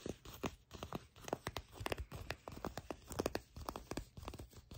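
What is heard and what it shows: Fingertips and long nails scratch and tap the soft, shiny olive-brown leather of a pair of pants near a seam. The result is a quiet, close-up stream of quick crinkly taps and dry scratches with short, clicky attacks and a mostly low-to-mid tone.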